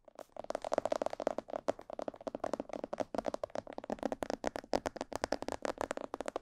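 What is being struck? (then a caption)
Hollow plastic mannequin head microphone. Long painted nails and fingertips tap around the ears and sides of a life-size, hollow, glossy black plastic or fiberglass binaural mannequin head with microphones in its ears. The result is a rapid, uneven run of dry, hollow clicks and knocks centered around 600 Hz, each dying away almost instantly with no ring.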